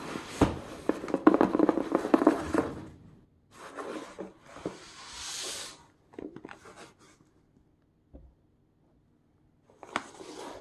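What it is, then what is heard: Corrugated cardboard box scratched with plastic tips. Hard black plastic claw tips scratch across the surface and printed packing tape of a hollow, medium corrugated cardboard shipping box. Dense, rough scratching fills the first few seconds, then softer, separate scratchy strokes with a brighter hiss follow. After a near-silent pause with a faint tap, a last burst of scratching closes the clip.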